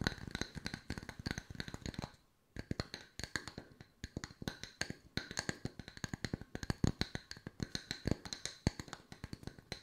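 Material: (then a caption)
Wood. Fast fingernail tapping with long white nails on two solid round wooden log-slice coasters. The steady stream of short, dry clicky taps has a woody low knock and bright nail clicks, with a brief pause just after two seconds before the tapping resumes.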